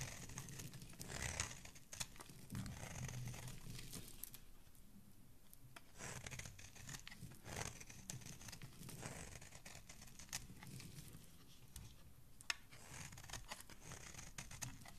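A solid teal bar of soap held in the hand is repeatedly scraped and cut with a dark metal blade, shaving off crumbly pieces. Soft, dry scraping and crunching strokes come in bursts with bright, hissy edges, separated by quieter pauses.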